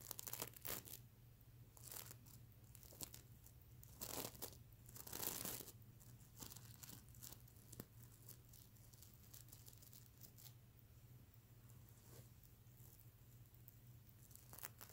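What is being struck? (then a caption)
Plush pillow covered in plastic sequins. Fingernails scratch across the reversible plastic sequins of a soft stuffed mermaid unicorn plush pillow. Irregular bursts of bright, crinkly scraping and rustling rise out of a quieter stretch of faint sequin ticks. A steady low hum runs underneath throughout.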